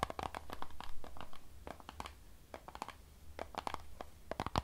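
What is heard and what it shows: A hollow Fiji plastic water bottle filled with water is scratched and tapped with long nails. Quick, irregular taps and scrapes come with some crinkling of the thin plastic, over a low, steady rumble.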